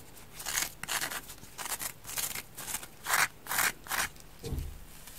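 A damp, hand-sized orange porous polyurethane foam kitchen sponge is held in both hands while fingers and long dark nails squeeze and rub it. The result is a series of irregular bursts of bright, crackly, wet rubbing and squishing, separated by short quiet gaps. The last burst has a soft low thump.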